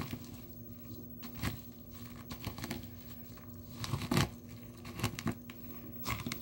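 Dry blue soap shavings and chips in a small clear plastic tub are crushed and pressed with the glass bottom of a nail polish bottle held in the fingers. Soft, dry crinkling and crunching crackles run throughout, with sharper, brighter crunches breaking through at intervals. A low, steady hum sits underneath.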